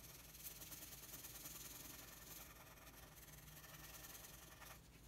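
A red wooden colored pencil rubs across a thin, flat sheet of white drawing paper lying on a table in continuous shading strokes. The result is a steady, bright scratchy hiss with a quiet low hum beneath it.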